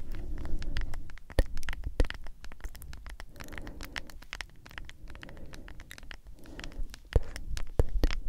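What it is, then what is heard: Plastic powder tub. A medium hollow plastic G Fuel powder tub, held upright near the microphone, is tapped and scratched on its lid and sides with long acrylic nails. Quick, irregular patters and scrapes carry a soft, low hollow thump, with a few sharper, louder clicks standing out. The taps die away almost instantly.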